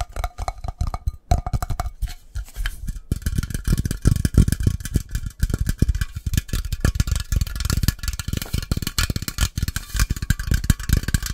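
A metal coffee can is tapped fast and hard in a rapid, continuous flurry of short knocks. The taps sound mostly as low, dull thuds around 156 Hz with almost no ring, plus faint bright clicks on top.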